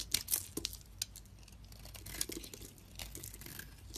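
A solid white soap bar has its surface scraped and chunks broken off with a blade. The result is a quiet series of crisp, bright scraping and crumbling clicks with some soft crumbly rustle between them.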